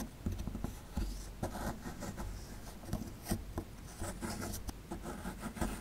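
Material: Plaster.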